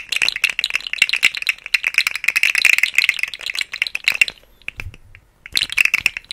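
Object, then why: Segmented plastic slug toy. A rainbow, segmented, hollow plastic articulated slug fidget toy is dangled and shaken on both sides of a microphone, its segments rattling against each other. Dense bursts of bright, dry clicking cluster around 2.7 kHz for about four seconds, thin out to a few scattered clicks, then return in a final flurry.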